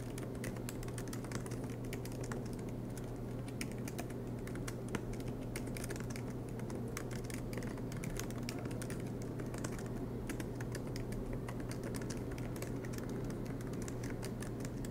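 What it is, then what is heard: Laptop keyboard being typed on. Both hands type continuously with their fingertips on a silver MacBook Pro laptop, tapping its low-profile black plastic keys set in an aluminium body as it rests on a desk mat. A dense, steady stream of short, dry key clicks runs the whole time at an even level over a constant low hum.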